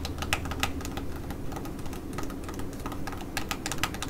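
Long nails tap and scratch across the surface of a flat, orange, glossy laminated plastic foil patch mask pouch. Quick, crisp clicking taps with bright edges mix with a soft scratchy rustle over a steady low hum, and each tap fades almost at once.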